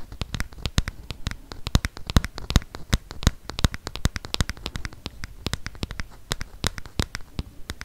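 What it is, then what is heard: Plastic smartphone. Fingernails tap and scratch the back and sides of a solid, handheld black plastic smartphone. Dozens of quick, dry clicks come in an irregular, rapid patter, each one a sharp bright tick with a faint low thud that dies away almost instantly, over a soft scratchy hiss.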